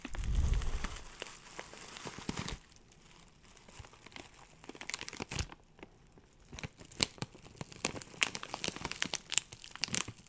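A clear plastic zip bag, partly full of dry loose herbs, is crinkled, squeezed and pinched with fingertips. A dense burst of crackling with a low rumble fills the first two and a half seconds, then gives way to quieter stretches broken by sharp, bright crinkles and crunches. Each crackle stops almost instantly, with no ring.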